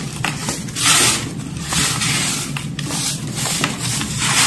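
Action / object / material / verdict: scrape / loose pile of crumbled baking soda / baking soda / none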